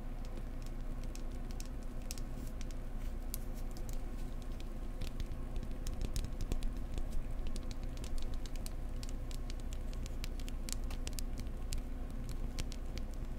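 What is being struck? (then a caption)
Wooden egg. Fingertips tap gently and closely on a wooden egg, making a steady stream of soft, quick ticks with bright little clicks. A constant low hum runs underneath throughout.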